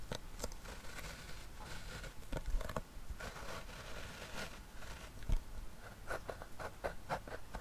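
Fingertips tap the lid and rim of a small, closed, hollow round metal tin with a clear window lid, holding it from above. Quick, soft taps sound at an irregular pace over a faint scratchy rustle, each one dying away almost at once with a light hollow knock.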